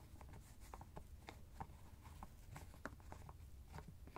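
Fingertips and nails twist and tap the white plastic screw cap of a teal fabric ice bag held in hand. Quiet, dry clicks and scratches repeat over a low, steady rumble, with a few sharper taps standing out near the end.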